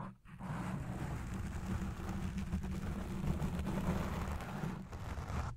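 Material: Foam.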